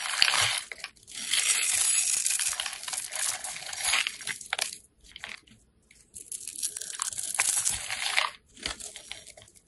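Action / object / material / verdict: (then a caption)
scrape / bar of soap / soap / none. A craft knife blade scrapes and carves a small, solid, pale green oval soap bar held in the hand, cutting it into fine cubes and shavings. Long bursts of bright, dry, crunchy scraping are broken by brief pauses, with almost no low end.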